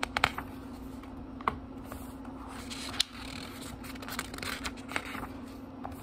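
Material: Paper.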